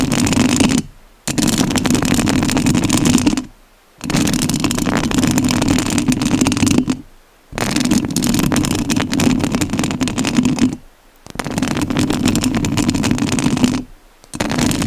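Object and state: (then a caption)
Metal mesh microphone grille being scratched. Long nails scratch the metal mesh grille of a rhinestone-covered studio microphone, producing a dense, loud, gritty rasp with a low hum-like band and bright crackle. The scratching comes in long bursts of a few seconds each, separated by brief near-silent pauses.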